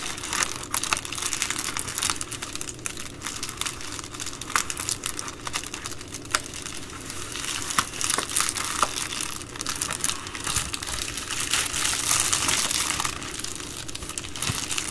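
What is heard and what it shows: Long nails fold, pinch and crinkle an empty Amazon Prime poly bubble mailer. A dense, steady stream of bright plastic crinkles and crackles runs throughout, with sharp snaps standing out over a softer low rustle.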